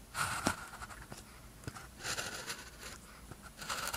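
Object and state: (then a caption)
Paper sheet written on with a ballpoint pen. A blue ballpoint pen tip scratches across a thin white practice sheet with a red grid, lying flat, as writing strokes are made. Bright, dry scratching comes in short bursts with soft ticks between them and quiet pauses. The strokes stay close and light, with almost no ring after each one.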